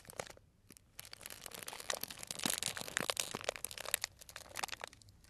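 A small, tied, clear plastic cellophane bag full of dried tea pieces is pinched and crinkled with fingertips. It gives off dense, bright crinkling and crackling with sharp little snaps, sparse at first, busier through the middle and thinning out at the end. The sound is soft and close, with almost no low end.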